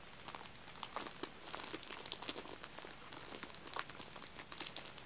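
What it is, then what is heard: Plastic-wrapped aluminium tealights. Fingertips press, tap and scratch along the top of a clear plastic film wrapping a row of small, solid wax-filled aluminium-cup tealights stacked two layers high. Quiet, bright crinkles and quick dry ticks follow one another throughout, with brief louder crackles near the end and no ringing after each touch.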